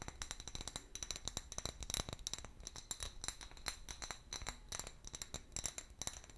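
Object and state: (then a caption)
Glass bottle tapped with nails. An empty, hollow clear glass bottle with a long neck and a pale paper label is tapped rapidly with long nails. The taps come as quick, bright, dry clicks with a high glassy ping and almost no ring.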